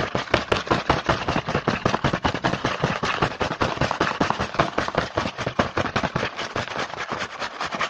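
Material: Cardboard.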